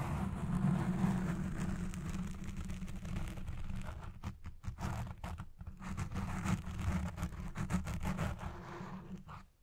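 Long red nails scratch the black foam windscreen on a recording Blue Yeti Pro microphone, first with one hand and then with both. This produces a dense, muffled, low rumbling scrape with a steady hum near 195 Hz. It breaks into short gaps midway and fades out at the end.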